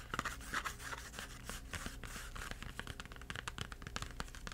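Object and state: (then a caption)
Cardboard crayon box. Fingertips tap and scratch the faces of a small Crayola 8-crayon cardboard box with crayons inside. The result is a run of quick, soft, dry taps mixed with papery scratching over a steady low hum, with the taps dying away almost instantly.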